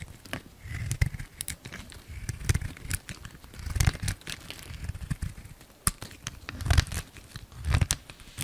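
A light blue bar of soap held in the hand is carved with a utility knife, crumbly chunks breaking off. The result is a run of dry, crackly scrapes and crumbles with low thuds beneath and bright snaps at the blade's cuts.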